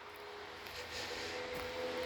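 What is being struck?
Nothing is struck.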